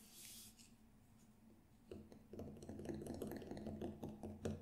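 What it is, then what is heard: Synthetic frame drum head. Fingertips tap on the black synthetic head of a large hollow Remo Buffalo frame drum near the rim while it is held in front of the face. After a quiet stretch with a faint hiss, a run of soft, quick, uneven taps begins. Each gives a short hollow thump with a low, muted tone that dies away quickly.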